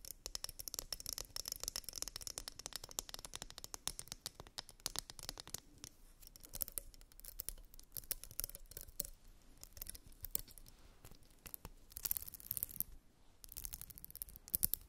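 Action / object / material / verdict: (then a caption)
scrape / plastic wide-tooth comb / plastic / none. Long nails scratch along the teeth and spine of a purple glitter wide-tooth plastic comb. The result is quiet, bright, dense rapid clicking and raspy scratching, with short pauses and louder bursts near the end.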